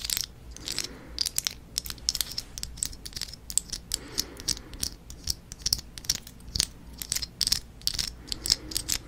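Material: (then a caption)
Plastic. A fist-sized fake green succulent with layered plastic leaves is held in one hand and flicked and scratched with long nails. Dozens of sharp, bright, dry clicks and ticks come in quick irregular bursts, with soft scratchy rustling between them. Each click stops almost instantly, leaving a crisp, high, crackling texture.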